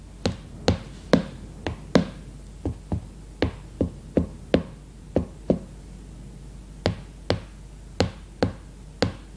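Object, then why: Hardcover notebook with cardboard cover. Long red-painted nails tap the cardboard cover of a closed hardcover notebook with a glossy leopard-print cover, lying flat on a woven placemat. Eighteen short, dull clicking taps come at an uneven pace, each fading almost instantly with a low, woody body and a faint bright edge over quiet background hiss.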